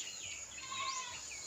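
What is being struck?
Nothing is struck.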